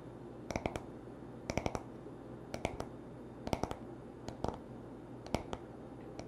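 A wooden paddle hairbrush lies bristles up while its smooth, solid wood back is tapped and scratched with short nails. Quick bursts of two or three dry, sharp clicks arrive about once a second, each dying away almost instantly. A faint, steady low hiss runs underneath.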